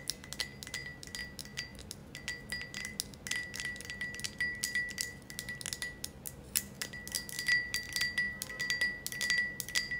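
Long acrylic nails tap and lightly scratch a hand-sized green glass ornament with a ribbed, wavy surface, held up close. Quick, irregular, bright clicks each carry a short chime-like glass ring with a clear tone near 2 kHz, over a soft, quiet background.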